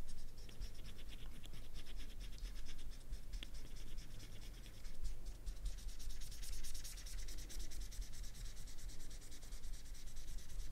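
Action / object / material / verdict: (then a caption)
scrape / felt-tip marker on banana peel / banana peel / none. A permanent marker tip is scratched and rubbed back and forth across the peel near the end of a whole, solid, ripe banana held down by fingers on a black mat, coloring it black. Quiet, continuous, rapid scratchy rubbing with fine bright strokes runs over a steady low rumble throughout.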